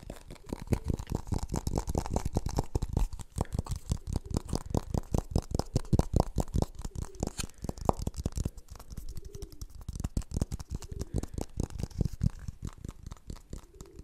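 Fingertips tap and scratch the outer surface of a hollow, empty blue plastic funnel held up close to the microphone. Quick, irregular taps land as soft, low, hollow thuds that stop dead, with faint scratchy rustling between them.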